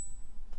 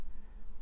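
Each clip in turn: First: non-silver coin, dull thud. Second: real silver coin.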